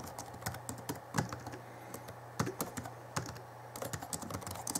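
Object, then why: Plastic laptop keyboard keys. Fingertips of both hands type on the backlit plastic keys of a small 2011 Alienware M11x R2 laptop keyboard, producing a quick, uneven stream of short, dry plastic clicks. A few sharper, louder taps stand out, such as a thumb on the space bar, and each dies away almost instantly over a faint steady low hum.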